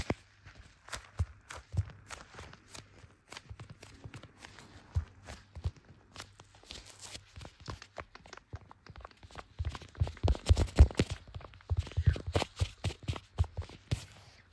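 Black leather-gloved fingertips tap the back of a small, solid blue smartphone in a clear MagSafe-style plastic case, the same phone that is recording. The taps come quickly and irregularly as dull, low, close-up thuds with very short decay and faint bright clicks. They grow louder and denser around the middle of the clip before settling back to softer tapping.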